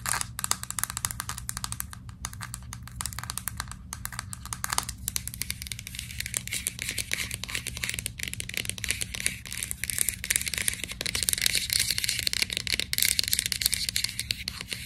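Fingernails tap and scratch on the label of a white plastic vitamin capsule bottle held in both hands. The result is a dense, rapid stream of crisp, dry clicks and scratchy rasps, mostly high and bright, over a faint steady low hum.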